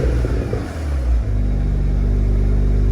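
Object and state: Nothing is struck.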